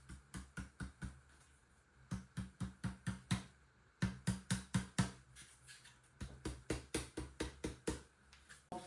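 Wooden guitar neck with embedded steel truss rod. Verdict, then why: Tight. A wooden guitar neck with a newly embedded steel truss rod and fitted fillet strip is tapped repeatedly in quick bursts, 29 short, dull, low knocks that die away almost instantly. No rattle or buzz follows any tap, showing that the rod is seated tightly and does not move inside the neck.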